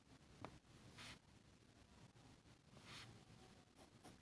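A metal fountain pen nib scratches a flat, thin sheet of grid paper on a table in short hatching strokes while shading an ink drawing, with a red plastic contact lens case sitting untouched nearby. The quiet, dry scratching rises into two brighter, hissy strokes and a few short ticks over a low background rumble.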